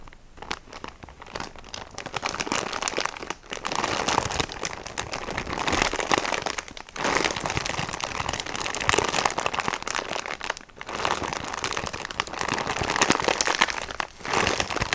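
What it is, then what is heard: Plastic-wrapped sponge pack. Fingernails scratch and squeeze the crinkly plastic wrapper of a plastic-wrapped sponge pack, producing dense, bright crinkling and crackling. The sound comes in bursts with brief quiet gaps, mostly in the mid and high range with little low end.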